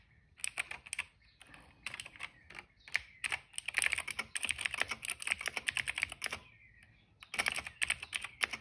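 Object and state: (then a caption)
Plastic mechanical keyboard being typed on. Fingertips of both hands type on the keycaps of a plastic retro mechanical keyboard resting on a rug. Bright, crisp plastic clacks come in quick bursts with very little low end, and each keystroke is short and dry. Brief pauses separate the runs of typing.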